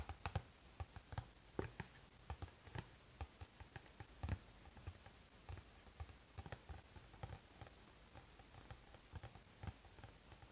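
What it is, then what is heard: Cardboard snack box. The back of a cardboard Pocky box, held in both hands, is tapped with the fingertips. The result is a quiet, irregular patter of short, dry taps with a dull low thump and almost no ring, against a soft steady hiss.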